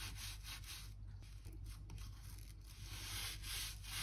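A narrow gap-cleaning brush with a blue handle scratches along the gap between old oak floorboards beside a white skirting board, brushing out dirt and dust. Bright, hissy scraping strokes repeat in a loose rhythm of about three per second over a steady low hum. The sound ends without any ringing.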